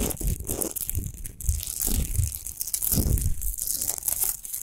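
Long nails scratch fast over a tall, unlit, rough-textured natural Himalayan rock salt lamp of solid salt. The result is a dense, continuous gritty scraping and crackling, with low rumbling swells under a bright hiss, in short overlapping bursts with no clear pauses.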